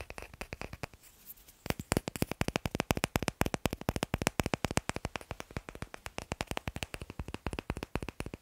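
Fingers tap rapidly on wooden blocks, producing a dense run of short, dry, clicky knocks with almost no ring. After a brief lull near the start, the tapping continues steadily at about four taps per second.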